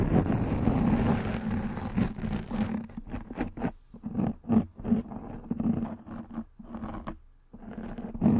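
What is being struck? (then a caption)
Foam microphone windscreen. Nails and fingertips scratch and rub a soft black foam windscreen covering a microphone head. A dense, continuous rustling rub at the start breaks into short, uneven scratchy strokes separated by brief quiet gaps. A steady low hum sits beneath the scratching throughout.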